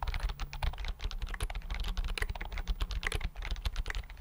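Fingertips type rapidly on the keys of a slim white plastic computer keyboard held in front of the mic. A dense, continuous stream of short, crisp clicks and taps rises and falls in loudness over a heavy low rumble and hum.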